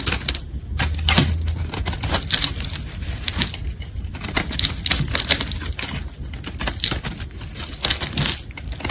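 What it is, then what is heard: Red soap bar being shaved. A solid red soap bar held in gloved hands is shaved with a metal utility blade, its curls falling away. Rapid, crisp scraping and cutting clicks repeat densely throughout, bright on top over a steady low rumble.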